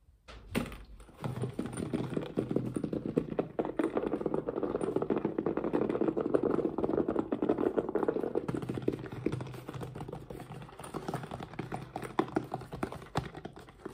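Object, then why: Fabric-covered hard-shell zippered case. A hand-sized, hollow, dark grey, fabric-covered hard EVA-style zippered carrying case with blue zipper trim is held in both hands and tapped rapidly with fingertips and nails. A dense, continuous stream of quick, hollow, muted clicks in the mid-range keeps going for about fourteen seconds, each tap dying away almost instantly.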